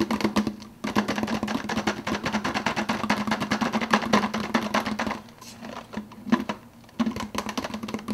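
Fingertips rapidly tap the clear plastic lid of a hollow, empty 52 oz translucent blue plastic soda cup while the other hand holds the cup. The result is a fast, dense stream of short, dry plastic clicks over a steady hollow tone near 210 Hz. The tapping dips briefly just before the one-second mark and softens again around five to six seconds before picking back up.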